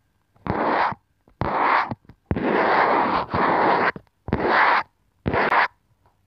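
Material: Plastic.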